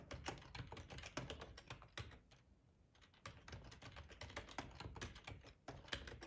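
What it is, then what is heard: Plastic computer keyboard. Short-nailed fingertips of both hands type on a black plastic split ergonomic keyboard with a hollow body and keycaps, lying on a plaid tablecloth. Rapid, crisp key-press taps with a soft low thump patter quickly, with a brief pause about a third of the way through before the typing resumes.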